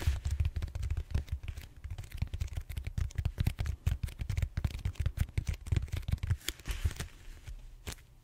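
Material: Foam.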